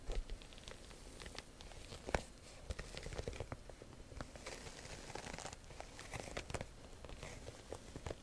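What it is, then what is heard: Faux leather handbag, scratched. Long nails scratch the front of a hollow black croc-embossed faux leather top-handle handbag held in both hands. The result is a dense, quiet stream of dry crinkling, crunching scrapes and ticks, with one sharper click partway through.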